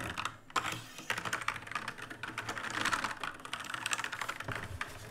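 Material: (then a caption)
Plastic. Two hands type with their fingertips on an RGB-lit black mechanical keyboard with plastic keycaps. The result is a rapid, uneven stream of crisp, clacky keystrokes with a bright midrange tone around 1.3 kHz. Each click dies away almost instantly, over a faint low hum.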